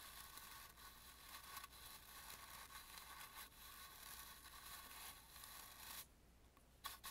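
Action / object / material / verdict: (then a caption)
scrape / carved painted wooden mask / wood / none. A bristle brush rubs into the carvings of an antique red and gold carved, painted wooden mask, making a steady, bright, scratchy rustle with a faint tonal band near 1.1 kHz. The brushing continues for about six seconds, then drops to near silence before one last short stroke.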